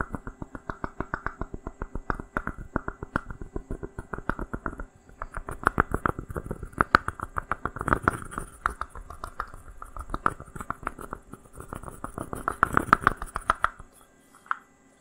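A small, hollow, unglazed, dry terracotta pot made of stacked sections is held by hand and tapped and scratched with fingernails. It makes a rapid, steady stream of short, dry clicks and taps with a hollow mid tone around 1.3 kHz and no ring. The taps pause briefly near 5 seconds, then stop at about 14 seconds, followed by one last tap.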